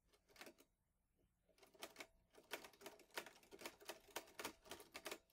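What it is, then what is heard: Manual typewriter typing. Fingertips press the plastic keys of a green metal-bodied Olivetti Lettera 22 portable manual typewriter with paper loaded, striking the typebars in typing bursts. A few clacks open the clip, then a brief pause, then a steady run of sharp, bright metallic clacks. Each strike dies away almost instantly.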